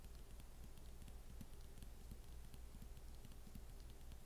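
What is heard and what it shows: Long painted acrylic fingernail tips of both hands tap a galloping rhythm across the lid of a closed MacBook fitted with a thin mint-green matte plastic snap-on hard cover, resting on a wooden table. The result is a quiet, fast, uneven patter of soft, dull low thuds dotted with faint, bright clicks.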